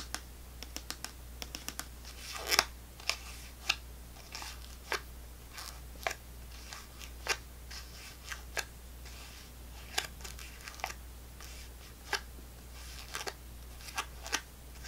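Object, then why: Plastic fruit cup. A small clear plastic snack cup full of orange fruit pieces is held upside down while long fingernails tap and scratch its bottom. Sharp, bright clicks and short scratches come at irregular intervals over a steady low hum.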